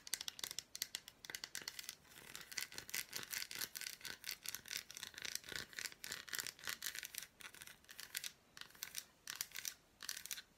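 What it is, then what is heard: Milk chocolate bar, scratched and tapped. Long black nails scratch and tap across the squares and flat back of an unwrapped solid milk chocolate bar with fruit pieces. The result is a dense run of quick, crisp, bright scratching and clicking bursts with almost no low end. The sounds come in short clusters separated by brief pauses.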